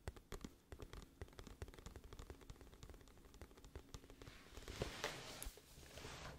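Long nails tap rapidly on the cover of a glossy printed cardboard music album case held tilted, giving quick, dry, clicky taps with short ring. Toward the end the nails scratch across the cover, adding a brighter, hissy scraping sound.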